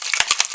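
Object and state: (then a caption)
Paint can with agitator ball rattling when shaken. A can of Duracoat epoxy gun coating in Magpul Flat Dark Earth, visibly separated, is shaken to mix its contents, which call for three minutes of shaking. A rapid series of bright, high-pitched metallic rattling clicks is heard, with no low end.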